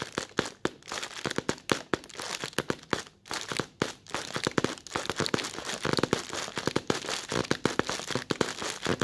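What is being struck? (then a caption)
Thin plastic bag. Short red-polished nails scratch and crinkle a creased, thin white translucent plastic bag, close up. The result is a dense run of sharp, dry crackles and crinkling snaps over a bright hiss, with little low end and almost no ring after each snap.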